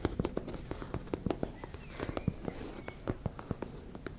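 Long nails tap and scratch a teal embossed-fabric makeup bag, making around twenty quick, dull, low taps over a soft, continuous fabric scratching. Each tap stops almost instantly without ringing.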